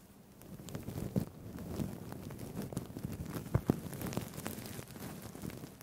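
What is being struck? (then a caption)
Sequined fabric tie with plastic sequins. Fingertips brush and flip the plastic sequins on a blue-green sequined fabric tie held in both hands in front of the mic. The result is a soft, continuous rustling with dense, crackly little clicks, mostly low in tone, punctuated by a few sharper, louder clicks.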